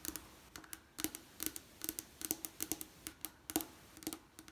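Long painted nails and fingertips tap and scratch a leaded stained glass window of coloured, textured glass diamond panes set in lead cames, including a painted bird pane. About 23 quick, bright, clicky taps and scrapes come at an uneven pace. Each is dry and dies almost at once, with a faint low glassy tone under the crisp high edge.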